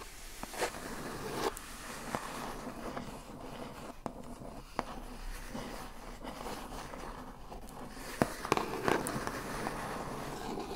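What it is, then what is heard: Cardboard shipping box. A single long acrylic fingernail taps and scratches across the lid of a large, hollow, brown printed corrugated cardboard shipping box lying flat. A soft, steady scratching rustle runs throughout, broken by about nine short, sharp, dry taps spaced irregularly. The taps cluster near the end, and each dies away almost instantly.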